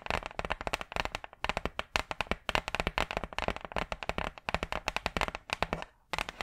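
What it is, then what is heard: Hardboard clipboard tapped with nails. Long purple acrylic nails tap and scratch rapidly on a large, flat, brown hardboard clipboard, a solid thin board held upright close to the mic. About forty quick, dry clicks come in bursts, each bright and woody with almost no ring, with a brief pause near the end before the tapping resumes.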